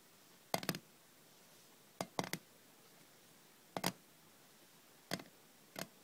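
Long red-painted nails tap the lid of a small closed rectangular metal cough drop tin holding lozenges, then the tin is lifted and tapped in the hand. Quick, dry, bright clicks arrive in scattered clusters, with a hollow tone near 680 Hz. Each tap dies almost instantly against a quiet background.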